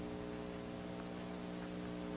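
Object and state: Nothing is struck.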